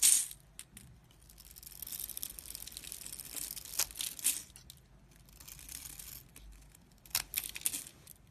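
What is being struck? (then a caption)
Bar of soap. A box-cutter blade scrapes the scored surface of a solid, rectangular pink bar of dry soap held in the fingers, making crisp, bright crunching and scratching in quiet bursts with a few sharper snaps. The scraping breaks the soap into crumbly flakes and powder.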